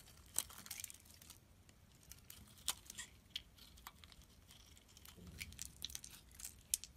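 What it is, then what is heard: Soap bar being scraped. A utility knife scrapes thin curls off the surface of a solid pink soap bar held in hand. The result is a quiet series of bright, dry scraping and crinkling sounds, broken by a few sharper clicks of the blade.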